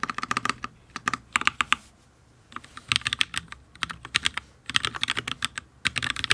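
Fingertips of both hands type fast on a solid, full-size HyperX Alloy Origins RGB mechanical keyboard with Fire switches and ABS keycaps on a steel plate, resting on a desk with a wrist rest. Quick, bright, clacky keystrokes come in rapid bursts, separated by two short pauses.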